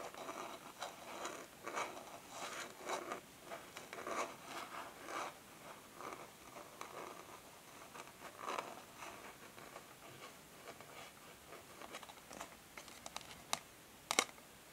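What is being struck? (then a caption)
Cardboard packaging sleeve. Long nails tap and scratch across the back of a flat, printed cardboard packaging sleeve lying on a table. The result is quiet, dry, papery scraping and rustling in uneven bursts, with crisp bright edges and almost no low end. A few sharper, brighter taps stand out near the end.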